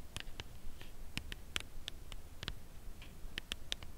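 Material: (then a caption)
Cardboard. Nail tips tap the top edge and face of a full Lindt Caramel cardboard chocolate bar box held upright. The slow, quiet taps come as short, dry clicks centred around 3 kHz that die away almost instantly. They sit over a faint low background rumble.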